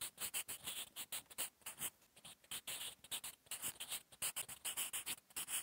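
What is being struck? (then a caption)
Graphite pencil on lined notebook paper. The graphite tip of a sharpened wooden 8B pencil, held in the fingers, writes quick handwriting on a flat sheet of lined drawing paper in a notebook resting on a solid surface. Continuous scratching strokes come in short, uneven bursts with brief pauses between them. The sound is quiet and bright, with almost no low end.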